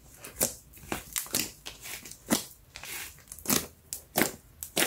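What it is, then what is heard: Slime with air-pocket pops. Fingertips stretch a brown slime lump with a metallic sheen up off a yellow mat, then press and poke it flat. Sharp, bright pops from bursting air pockets crackle at irregular intervals. Softer squishing fills the gaps between them.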